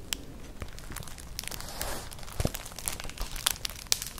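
Long nails scratch and rub across a flat, colourful, hollow woven straw-like clutch purse, making dry crinkling and crackling scrapes. Sharp bright ticks are scattered through the clip, with a brief swell of rubbing near the middle and a few louder clicks toward the end.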